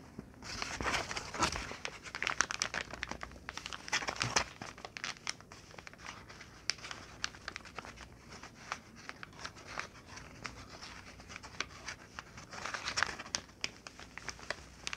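A large thin sheet of brown kraft packing paper lies flat on a blanket while flat hands and long nails rub and scratch across it. Dense, bright crinkling and scratchy rustling come in bursts with many short crackles, louder near the start and again near the end.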